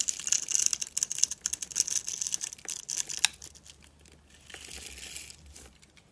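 A steel utility knife blade scrapes across a dry, solid mint-green rectangular bar of soap with a scored grid, held in the hand. It makes dense, bright, crisp crunching and scratching that peaks in a sharp crack near the three-second mark. A softer, quieter scrape follows toward the end.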